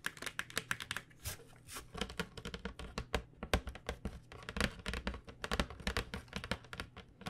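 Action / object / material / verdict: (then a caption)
tap / flat cardboard box of pens / cardboard / none. Long fingernails tap rapidly across the front of a flat, printed cardboard box holding 12 acrylic paint pens, held horizontally. The taps are quick, dry and hollow-sounding, with bright clicky edges that die away almost instantly over a faint low hum.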